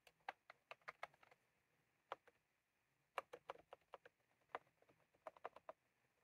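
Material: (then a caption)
Plastic. A plastic mechanical keyboard with round keycaps is typed on continuously with the fingertips of both hands, tapping the keys. About 20 quiet, short, dry clicks sound at a mid pitch with no low rumble and no ring, arriving in uneven bursts with brief pauses between them.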